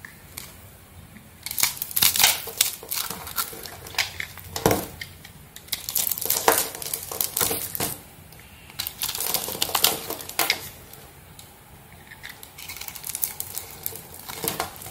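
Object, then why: Bar of soap scraped with a metal blade. A metal blade carves and scrapes small flakes off the surface of a hand-held solid white soap bar with pink streaks. Crisp, bright crackling and scraping come in bursts of rapid strokes, separated by short quiet pauses. There is little low-end weight, and each flake comes off with a dry, crunchy crinkle.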